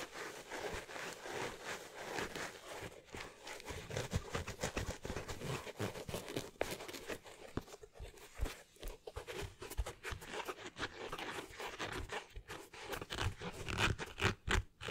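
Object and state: Leather sneaker.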